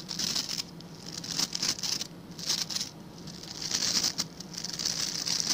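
Fingertips and nails scratch across the tips of a hand-sized blue plastic scrub brush with tufts of stiff white and blue plastic bristles. The result is a dry, bright, crackling patter of scratching that comes in repeated bursts, swelling and easing with little low-end body.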